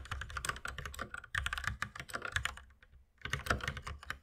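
Fast two-handed fingertip typing on a white compact mechanical keyboard with plastic keycaps and a red accent key, resting on a wooden desk. A dense run of short, bright clacks with a low thock under each stroke pauses briefly just before the three-second mark, then resumes.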